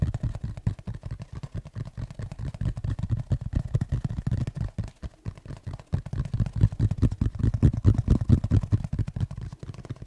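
Fingertips tap and scratch the cover of a black textured tablet folio case tilted in the hands. The result is a dense, irregular run of quick, dull, low thumps with faint scratchy texture and almost no ring. There is a brief lull around the middle before the tapping returns louder.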